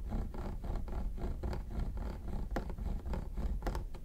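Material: Plastic.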